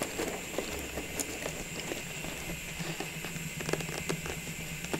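A tall, clear plastic cylindrical tube full of small Christmas ball ornaments, its lid removed and lying beside it, is held in both hands and tapped and scratched with long nails. Soft, scattered patter and scratchy crackles sound over a steady background hum, with a few brighter, sharper taps standing out.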